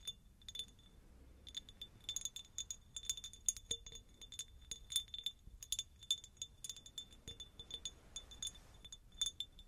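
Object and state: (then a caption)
Cut glass jar, empty. Long nails tap and scratch a hollow, empty, medium cut-crystal glass jar. Rapid, uneven bright clinks ring briefly with a high glassy tone, with soft scratching between them.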